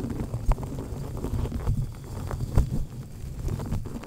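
Long painted nails scratch and tap the black foam windscreen covering a microphone head held in place, using both hands. The sound is a steady, muffled low rumble of rubbing, punctuated by short, dull thumps that stand out now and then with little ring after them.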